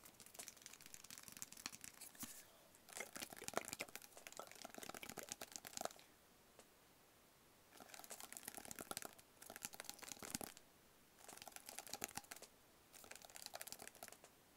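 Fingertips tap and scratch a small, hollow, black rigid cardboard box held in the hand. Quick, dry, crinkly taps and scrapes come in several dense bursts with short quiet gaps between them. The sound is soft and bright with almost no low end.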